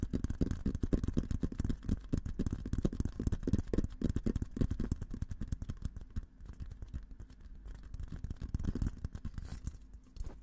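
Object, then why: Steel military helmet. An olive-green painted, hollow steel military helmet is held in both hands while fingertips tap and scratch its sides. This makes a dense, rapid, uneven run of soft, low, hollow thumps with dull scraping and almost no ring. The tapping grows quieter and sparser in the second half.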